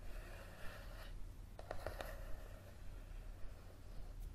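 Fingertips and nails tap and scratch the card cover of a thick yellow paperback book lying flat and solid on a table. A soft, papery scratching in the first second gives way to a short cluster of quick, dry taps, then faint rubbing continues. Everything sits quietly over a steady low hum.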